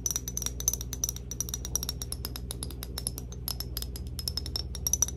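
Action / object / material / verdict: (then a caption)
tap / glass perfume bottle / glass / none. A glass Cloud perfume bottle is tapped rapidly and lightly for ASMR, giving a dense run of quick, bright clicks. Each tap has a very short, high glassy ring over a steady low hum underneath.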